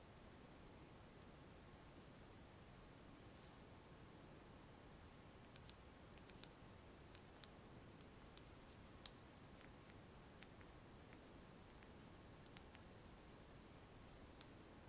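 A small, clear, thick glass nail polish bottle with a white cap, partly filled with clear polish and held in the palm, is tapped and scratched with fingernails. About sixteen faint, sharp, bright clicks and ticks sound apart from each other over a quiet, steady background hiss, each dying away almost instantly.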